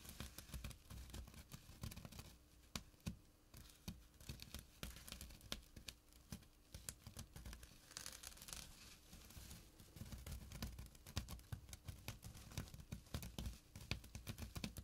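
Short nails scratch the coarse fabric of a small, flat burlap pouch with a drawstring. The result is a steady, quiet run of dry, rapid scratching and rustling clicks over a soft low rumble, with a brief brighter, hissier stretch midway.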